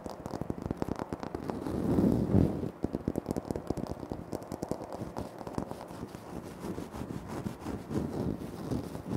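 Fingertips and short nails scratch and tap across a large, flat, solid speckled granite-like floor tile. Rapid, irregular, dry taps and scraping strokes sit mostly in the low and middle range with almost no brightness, and each touch dies away almost instantly. A louder, denser scratching swell comes near the two-second mark before the tapping settles into a steady patter.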